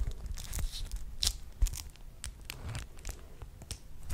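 Fingertips crinkle, crumple and rub a single flat, thin, pink-purple patterned cotton wrap coated in beeswax, held up in front of the face. The result is a run of quiet, irregular, bright crackles and crisp snaps over a soft low rumble, with one sharper crackle standing out about midway.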